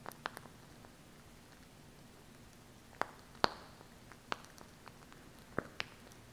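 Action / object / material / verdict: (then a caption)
tap / plastic glue stick tube / plastic / none. Long acrylic nails tap and scratch along the body of a small plastic glue stick tube with a red cap and purple base, held upright close to the mic. Nine quiet, sharp plastic clicks come at irregular intervals, mostly around the midrange with some bright edges, each dying away almost instantly over a soft, steady background hiss.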